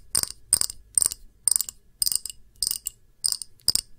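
Long nails tap a small, round, empty clear glass dish with a textured rim, held in both hands. Quick clusters of bright, high, clicky taps repeat in an irregular rhythm, each dying away almost instantly with very little low end.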